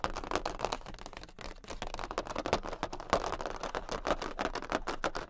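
Long pink acrylic nails on both hands tap rapidly on a large, thin cardboard Queen of Hearts playing card. The result is a fast, continuous stream of dry, papery clicks with a hollow midrange knock. Each tap stops almost instantly, and the loudness varies slightly throughout.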